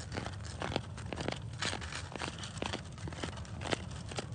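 Bare fingertips and short nails scratch and rub the rough, grainy surface of a large, solid, speckled granite and quartz boulder outdoors. Dry, gritty scraping comes in quick, uneven strokes with brief crackling transients over a low rumbling background.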